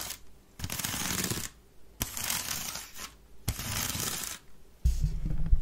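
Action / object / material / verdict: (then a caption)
scrape / woven wicker waste bin / wicker / none. Long red nails scratch fast along the rim and weave of a hollow, empty grey woven wicker waste bin tilted on its side, in four dense, bright, rasping bursts separated by short quiet gaps. The final burst carries a heavier low rumble beneath the scraping.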